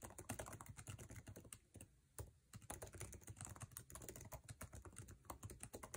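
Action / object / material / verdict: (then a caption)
tap / laptop keyboard, plastic keycaps in aluminum body / plastic / none. Fingertips type fast on a MacBook Air laptop keyboard with plastic keycaps set in an aluminum body. It makes a dense, rapid stream of short, crisp clicks with a low thud under each keystroke, and the clicks die away almost at once. There is a brief lull around two seconds before the quick typing resumes.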